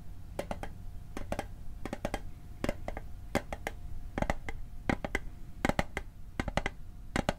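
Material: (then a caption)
Metal. A small, hollow metal Altoids mint tin is held above the microphone while its lid is tapped with fingertips and nails. Quick, bright clicky taps come in short irregular bursts, each dying away almost at once over a steady low hum.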